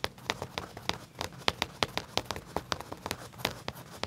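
Fingertips and short nails scratch and rub along the back pocket edge of black leather pants laid flat, the soft, thin material giving off about 19 quick, bright scratchy strokes. Each stroke is short and crisp, with almost no ring, over a faint low rustle.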